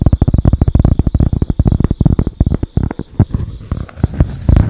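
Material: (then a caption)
Cork. Long acrylic nails tap and scratch a flat, tan, palm-sized solid cork pad held in both hands. The result is a quick run of dull, low, muffled thuds with almost no ring, then a softer scratchy stretch before a louder burst of taps at the end.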